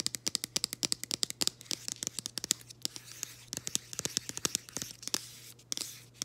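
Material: Cardboard.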